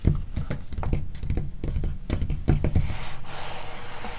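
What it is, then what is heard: Glossy magazine pages tapped and scratched. Long nails tap and scratch across the coated pages of a glossy magazine lying open to a spread about crustaceans. Quick, dull, low taps patter in an uneven run, then give way near the end to a softer, steady scratching hiss across the paper.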